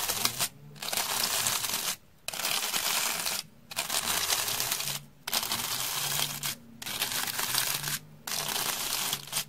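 A rectangular slab of beige, solid, porous dry floral foam is held in hand and scratched with a round hair brush with stiff dark bristles. Bright, hissy scraping comes in long strokes separated by short quiet pauses.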